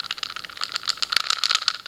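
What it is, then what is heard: Tight, low-rattle speed cube. A plastic YJ MoYu 4x4 speed cube is pinched by one corner and shaken as a stability test. It gives only faint, quick, high-pitched clicking rattles with no low end. The cube is tight and stable at these tensions.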